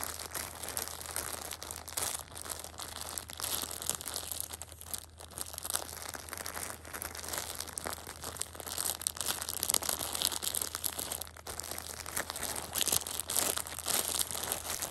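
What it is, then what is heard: Plastic-wrapped tissue pack. A small, soft, full Shopkins six-pack of pocket tissues shrink-wrapped in clear plastic film is squeezed and crinkled by fingertips and red-painted nails. The result is a steady, irregular stream of bright, crackly plastic crinkling with dense high-frequency texture, little low end, and a constant low hum underneath.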